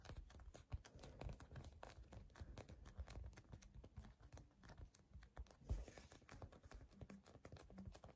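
A palm-sized yellow polyurethane foam squishy cookie toy with dark and purple chips, solid and soft, is gripped, squeezed and scratched by fingertips and short nails. The result is a quiet, dense stream of rapid, muffled scratches and soft taps, mostly low and dull with little brightness, and one slightly louder thump near the middle.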